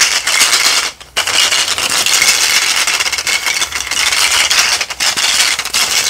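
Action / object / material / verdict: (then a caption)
shake / mesh bag of small hollow plastic toy skulls / plastic / none. A small net bag filled with many small hollow plastic toy skulls is held up in one hand and shaken so the skulls rattle together. The result is a dense, bright, crackling clatter with almost no low end, briefly stopping for a moment near the one-second mark before the shaking resumes and continues steadily to the end.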